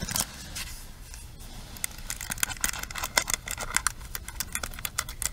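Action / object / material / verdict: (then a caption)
tap / plastic paddle hairbrush with pins / plastic / none. Long pink nails tap and scratch the frame and plastic pins of a pink plastic paddle hairbrush with a hollow handle and pins set in a cushion, held in both hands. Quick, bright clicks and scratchy ticks come in an irregular stream over a faint low background hum, each tap dying away almost instantly.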